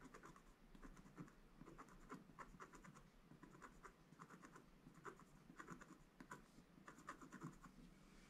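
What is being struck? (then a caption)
Coated scratch-art paper scratched with a wooden stick. A wooden stick scratches the coating off a black-coated gold scratch-art paper page lying flat. Quiet, dry scratching strokes repeat in quick bursts, each a short papery scrape with a crisp crackle and a faint low rumble beneath.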